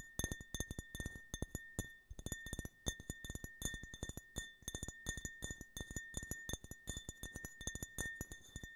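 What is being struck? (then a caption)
Small glass tumbler. Fingernails tap rapidly and irregularly on a small, empty-looking, hollow glass tumbler printed with an American stars-and-stripes flag design, held close to the microphone. Each crisp, clinking tap dies away almost at once. A faint, steady glassy ring persists underneath, around 1.8 kHz with a higher bright overtone.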